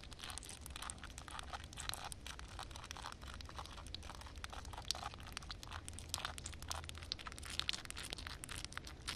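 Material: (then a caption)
Concrete. Long red nails tap and scratch across flat wet concrete ground covered with a reflective water film. A dense, steady stream of quick, bright clicking taps and crackly scraping runs throughout over a soft low rumble, with a few sharper taps standing out.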